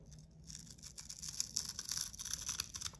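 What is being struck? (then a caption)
Hand-sized soap bar shaved with a metal blade. A metal utility knife blade shaves flat across a solid, hand-sized bar of soap with a blue painted, glittery coating. The sound is a dry, crisp, bright scraping with a rapid run of short, crackly strokes that grows louder after the first half second. It has almost no low end.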